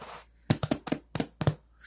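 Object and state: Hollow-sounding bottom of a baked bread loaf.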